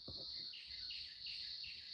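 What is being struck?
Nothing is struck.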